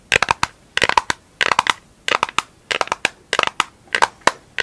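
A round pink plastic lid, held in both hands, is tapped and scratched on its face and rim with long acrylic nails. Quick clusters of sharp, bright clicks and scrapes come in short bursts with brief pauses between them. Each tap is dry and dies away almost at once, with a hollow plastic tone around 950 Hz.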